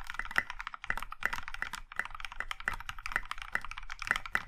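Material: Plastic.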